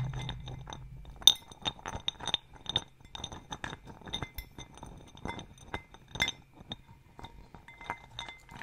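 A small clear glass bowl partly filled with acorns is held at face height, then tilted and shaken so the acorns roll and clink against the glass walls. The result is a series of short, bright, sharp clinks ringing around 3.7 kHz, with soft rolling rattles in between and a faint low rumble in the first second.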